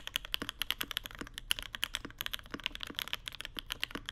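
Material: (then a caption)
Plastic. A mechanical keyboard with white plastic keycaps and an aluminum plate, the Mode Sonnet with Vermilion Bird switches, sits on a deskmat on marble as both hands type continuously with their fingertips. About 31 rapid, crisp key clicks run in an uneven stream, bright and clacky with a tonal peak near 3 kHz and a little low thock from the bottoming keys. Each press dies away almost instantly.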